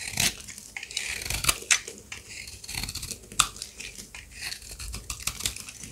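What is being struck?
Bar of soap scraped with a blade.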